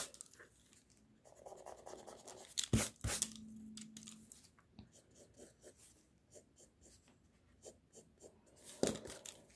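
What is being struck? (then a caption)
Pencil lead on a sheet of drawing paper. A pink mechanical pencil scratches drawing lines across a flat white sheet of drawing paper resting on a desk. Soft, dry scratching strokes come in short, quiet bursts, with a few louder, brighter scrapes near the 3-second mark and again near the end.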